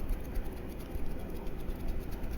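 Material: Nothing is struck.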